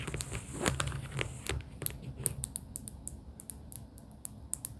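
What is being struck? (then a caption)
Paper sticky-note pad. Long pink acrylic nails tap on pastel paper sticky-note tab stacks held in a cardboard booklet. A dense, crinkly rustle of quick taps in the first second and a half gives way to sparser, sharp clicks with a bright, papery snap, each dying away almost instantly.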